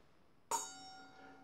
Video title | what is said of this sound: Shaving: Occam's Razor and the new Byron Shaving Co. 'Lather Master' Bowl 👍 | if I take that out you will hear that it rings so the rubber insert quietens the bowl